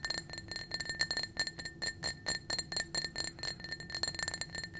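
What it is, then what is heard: Glass drinking cup tapped with fingernails. Painted fingernails tap rapidly and repeatedly on a small, clear, blue-tinted, empty glass drinking cup held in the hand. Each tap gives a bright, short glassy clink, and the cup carries a steady ringing tone near 1.8 kHz with a higher overtone.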